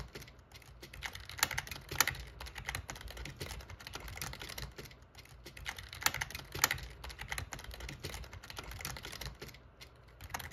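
Fingertips type steadily on the keys of a backlit black plastic gaming keyboard. Dense, irregular bright clicks and clacks run throughout, with a few sharper, louder strikes and a steady low hum underneath.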